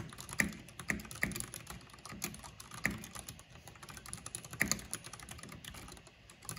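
Fingertips and long painted nails type on the keycaps of a full-size black plastic mechanical keyboard with purple RGB backlighting. An irregular stream of quick, bright clicks and clacks comes through, with a few louder strikes standing out. Each tap dies away almost at once.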